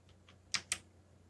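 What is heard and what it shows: Fingertips type on a backlit plastic mechanical keyboard with black plastic keycaps. Two quick, bright clicks land close together, each dying away almost at once over a faint steady hum.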